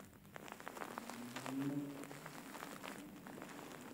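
Fingertips and nails scratch the fur of a large, soft, grey faux fur pillow with soft filling. The result is quiet, crackly rustling made of many fine, bright ticks over a faint, steady low hum, swelling slightly in the middle.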